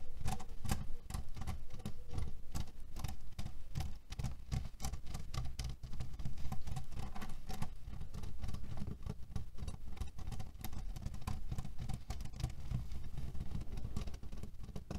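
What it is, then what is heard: Cherry pit pillow. Fingernails tap and scratch quickly across the top of a cotton fabric pillow filled with cherry stones. The result is a dense, steady patter of rapid crisp clicks and rustling over a soft, low thumping body, holding an even level for the whole clip.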